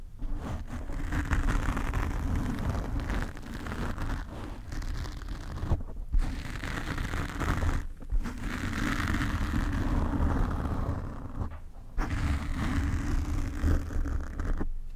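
Fingernails scratch a black foam windscreen covering a desk microphone, working over the top and sides. The result is a dense, close, rumbling scrape heavy in the low end, with a faint hum-like tone in the low-mids. The scratching runs almost continuously, broken by brief pauses near 6, 8, 12 and just before 15 seconds.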